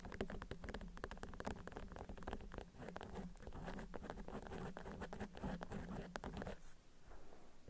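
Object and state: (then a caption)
Beeswax wrap, tapped and scratched. A waxed cotton beeswax wrap, rolled around an object and lying on a table, is tapped and scratched with long acrylic nails. It gives a quick, dense patter of short, dry clicks and scratches over a low hum, easing off just before the end.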